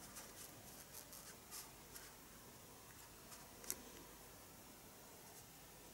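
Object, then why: Pencil on paper sketchbook page. A pencil scratches lines onto the paper page of a spiral-bound sketchbook resting on a desk. The result is faint, bright, dry scratching that comes in short strokes over a quiet background, with one sharper scrape standing out near the end.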